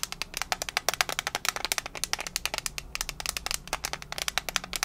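Long nails rapidly tap and scratch the lid of a small, hollow, rectangular metal mint tin held in one hand. The result is a fast, uneven run of dozens of bright, dry metallic clicks with very short ring, over a faint scratchy hiss.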